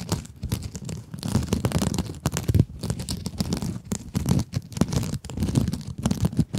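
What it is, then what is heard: Mesh scrub sponge scratched with nails. A small pink scrub sponge with glittery mesh is held above a microphone and scratched with long acrylic nails. The result is dense, continuous scratchy, crinkling rasps in quick bursts, with a low rumbling body and bright airy hiss, pausing only briefly between strokes.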